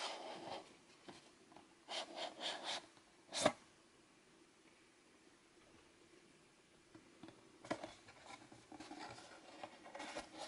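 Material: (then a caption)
Cardboard. Fingertips tap and rub the printed surfaces of a small, hollow rectangular cardboard Fitbit Blaze product box with a blue inner part, likely still holding its contents, as it slides and is handled. Soft, dry scratching and brushing sounds come in short bursts, with one sharper, brighter tap standing out early on. Quiet gaps fall between the bursts.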